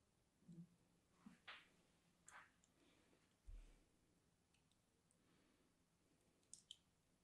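A thin metal needle tool scratches and carves the surface of a small, solid, green-and-white striped bar of soap held in one hand. Several quiet, separate bursts of soft, bright scraping and crackling stand out over a faint hiss, with one dull low thump midway and two quick sharp ticks near the end.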